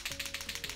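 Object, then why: Paint marker, plastic barrel with liquid paint. A large water-based paint marker in a plastic barrel is shaken to mix the blue paint before priming. The mixing ball rattles inside in a quick series of about six bright, clicking knocks, heard at a distance.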